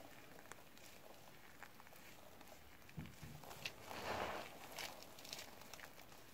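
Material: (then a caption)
Soap. Blue nitrile-gloved hands scoop, squeeze and crush handfuls of small crumbly multicolored soap scraps (yellow, green, white and pink) in a yellow plastic bowl. Quiet, dry crackling and rustling runs irregularly under a faint hiss. It grows into louder, brighter crunches and a crumbling swell about halfway through, then settles back to soft crackles.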